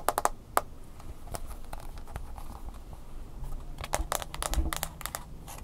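A smartphone with a glass screen in a mint-green silicone case is held in the hands while fingernails tap on the screen and case. Quick, sharp clicking taps come in irregular bursts over a low, steady background rumble, with a crinkly texture between the louder taps.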